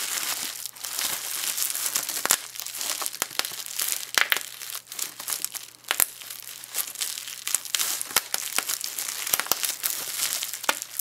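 A small wad of clear plastic bubble wrap is squeezed in the hands, with the bubbles popped by the fingers and the sheet crinkled. The result is a continuous bright crinkling hiss broken by many sharp, dry pops that stop instantly with no ring.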